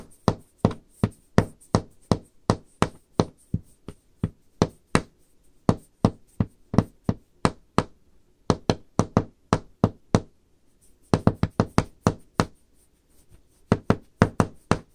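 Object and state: Wooden tabletop tapped with nails.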